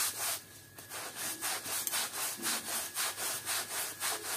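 A long-handled stiff-bristle push brush scrubs back and forth over a flat, thin, patterned woven textile rug lying on a wet, muddy outdoor floor with muddy water and soap. Bright, scratchy swishes repeat in a fast, steady rhythm of about four strokes per second, with a brief lull near the start.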